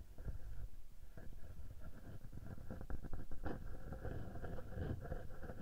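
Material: Metal mesh.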